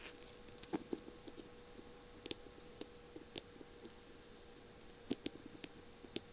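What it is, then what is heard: Beaded, mirror-tiled feather pen tapped with fingernails. Long purple nails tap and scratch near the feather end of a small, slim feather pen whose barrel is covered in beads and mirror tiles. About thirteen short, sharp clicks stand out above a faint steady hiss, each with a bright ticking edge and almost no ring. Softer scratchy taps fill the gaps between them.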